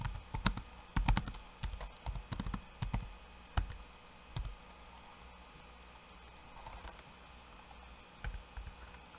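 Fingertips of one hand type on a backlit laptop keyboard with plastic keycaps, producing irregular bursts of short, dull clicks and low thuds. Typing is dense for the first few seconds, then thins to a few scattered taps over a quiet background. A final small cluster of keystrokes comes as the hand moves close.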